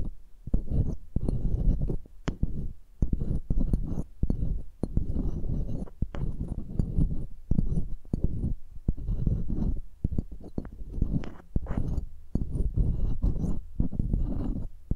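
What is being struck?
Metal mesh microphone grille rubbed with pearls.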